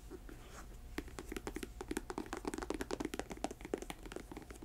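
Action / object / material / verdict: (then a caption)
tap / patent leather boot with rubber sole / patent leather / none. Long nails tap and scratch the glossy upper of a hollow, empty black patent leather lace-up boot in the Dr. Martens style, with a thick rubber sole, sitting on a table. After a soft scratchy start, a quick, irregular run of dry, short-ringing clicks and scrapes follows, with a mid-low knocking body and bright tips.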